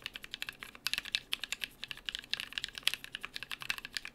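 Fingertips of both hands type rapidly on a small BM43A mechanical keyboard with NK Cream switches, cream/brown PBT plastic keycaps, an aluminium plate and a hollow case with plate foam. About 30 quick, dry keystrokes come in a steady run, each a short bright clack centred near 3.3 kHz with almost no low end and no lingering ring.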